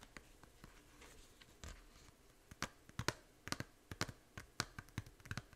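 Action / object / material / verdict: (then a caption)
tap / small plastic game case / plastic / none. Long nails scratch softly across the front of a small, hollow plastic 3DS game case for Fantasy Life, held in both hands, then tap it in a run of sharp, dry clicks. The taps sound light and hollow, with a brief low knock under a bright snap and almost no ring, over a faint hiss.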